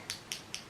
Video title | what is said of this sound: Testing NEW and VIRAL makeup products - 2024 | There's like an agitator ball in there that shakes.